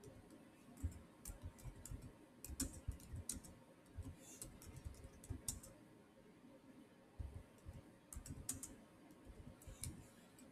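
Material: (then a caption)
Plastic. Fingertips type and click on the solid keys of a black plastic chiclet keyboard on a silver Samsung laptop. Quiet, irregular bursts of soft, dull key thuds with short, bright clicks come in runs, with a brief pause in the middle. Each keystroke dies away almost instantly.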